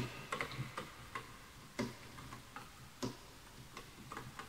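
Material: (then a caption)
Bamboo wood. Fingertips type fast on the wooden keys of a full-size bamboo wood computer keyboard, while the mouse is left untouched. About nine dry, hollow taps click out in an uneven, tick-like rhythm. Each has a soft low knock and a bright click that dies away quickly over a faint steady hiss.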